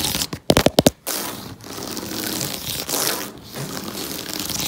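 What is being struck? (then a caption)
Cardboard jigsaw puzzle on a table. Fingertips and nails tap and scratch across the printed surface of a large, fully assembled, colorful cardboard jigsaw puzzle lying flat on a table. A quick burst of sharp, dry taps at the start gives way to a steady, bright, papery scratching that runs to the end with only brief dips.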